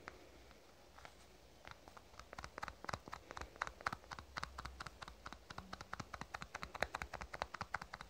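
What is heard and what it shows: Fingernails tap rapidly on a small black plastic cosmetic tube held between both hands. The result is a quick, irregular stream of short, dry clicks over a faint low hum, and the taps grow denser and louder after the first second or so.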